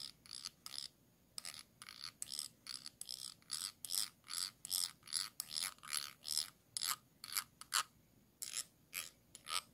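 The tip of a thin dark stick, like a brush handle, scratches back and forth along the ridged bottom rim of a small, round, clear glass jar that is held upside down in one hand, hollow with a light inside. About 27 short, quiet, bright raspy strokes come in an uneven rhythm, each a brief ratcheting scrape with almost no low end and a tone centered near 1.4 kHz. Every stroke stops almost immediately, leaving short silences between them.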